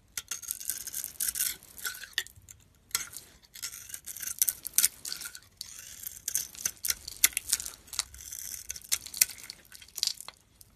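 A metal utility blade cuts and scrapes chunks off a hand-held bar of soap with a blue outer layer and a cream core. The result is a steady run of dry, bright, crisp scraping and crunching bursts with almost no low end and no ringing, separated by brief quiet pauses.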